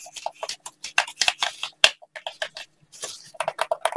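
A hand-sized black plastic gamepad with a hollow shell and buttons is held in both hands and tapped and clicked with fingertips in blue latex gloves close to the microphone. Around eighteen short, dry, bright taps and clicks come in an irregular patter, with little low end and a peak near 2.7 kHz. Each one stops almost instantly, leaving brief silences between them.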